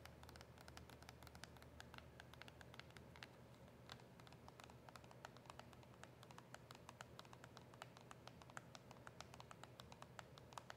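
A small, hollow cardboard box of mint press-on nails with a plastic window is tapped and scratched with long nails. Quick, light, dry clicks and scratchy strokes come in a steady, rapid patter, each one short and bright with almost no ring. Everything stays quiet over a constant low hum.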